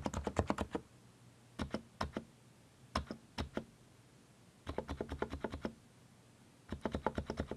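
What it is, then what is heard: Mechanical keyboard with plastic keycaps. Fingertips press the arrow keys and Return on a mechanical keyboard with plastic keycaps, producing about 32 short, dry clacks with a low, thocky body. The keystrokes come in quick bursts separated by brief pauses, and each one dies away almost instantly.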